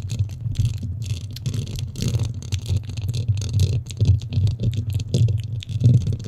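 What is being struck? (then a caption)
Foam microphone windscreen. Long nails scratch and rub the top and sides of a black foam windscreen on a microphone. The result is a dense, muffled, low rumble with crackly rubbing bursts that swell and fade, with faint bright scratchy flecks on top.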